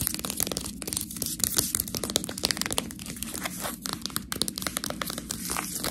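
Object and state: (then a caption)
Plastic food package being scratched. Long nails scratch the label and sealed top of a full Priano plastic package of fresh tortellini. A steady run of dense, bright crinkling and scratching ticks is heard, with a low, soft hum beneath it throughout.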